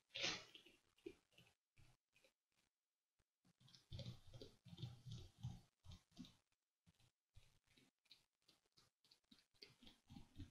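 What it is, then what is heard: Paper pages in a ring binder. Fingertips with short nails tap and lightly scratch the surface of a stack of printed paper sheets in an open ring binder with colored tabs, lying flat on a dark desk. A quiet, uneven series of short, dry papery taps and soft scratches comes through, with brief pauses between bursts.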